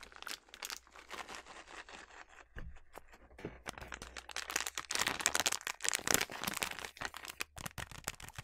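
A filled yellow plastic snack bag of sliced almonds is scratched with long nails and squeezed by hand, giving dense, bright crinkling and crackling in quick, irregular bursts. The crinkles grow louder and fuller in the second half, while a faint low hum sits underneath for the first few seconds.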